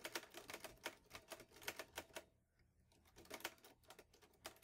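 Fingertips type on the keys of a green metal Olivetti Lettera 22 portable manual typewriter. A quick run of sharp, bright clacks, each dying away almost at once, breaks off for a short hush near the middle before the typing resumes.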